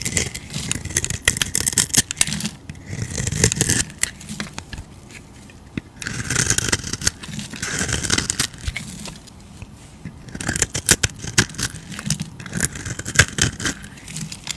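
A metal utility blade scrapes and carves a solid, palm-sized cream bar soap with a blue edge, held in the hand. Bursts of crisp, bright scraping and crackling strokes alternate with brief quieter pauses. Curls and flakes of soap peel off as it goes.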